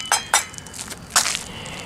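An old concrete sidewalk, about 30 years old and in South Carolina, is sounded in another area after its bad, rotted spots have been removed. Three sharp, bright taps ring briefly with a high, clinking tone. The concrete is judged solid.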